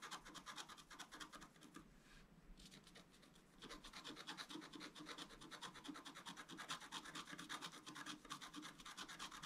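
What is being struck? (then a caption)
Black-coated scratch-art card scratched with a wooden stylus. A thin wooden stylus scratches across a flat black-coated scratch-art card held down by one hand, making fast, bright, rasping strokes in a steady rhythm. The scratching quiets to a soft rub for about a second and a half partway through, then resumes at full pace until the end.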